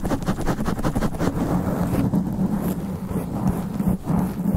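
Long black nails of both hands scratch fast and aggressively on a black foam sponge windscreen covering a standing microphone. The result is a dense, continuous, muffled rasping rumble, heavy in the lows with a steady hum-like tone, and very little high-end content.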